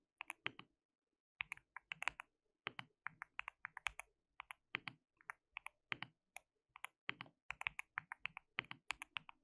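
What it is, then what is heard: Mechanical keyboard with plastic keycaps. Fingertips of both hands type continuously on a white mechanical keyboard with plastic keycaps. The result is a steady run of sharp, bright, clicky keystrokes that stop almost instantly, arriving in quick bursts with one brief pause early on.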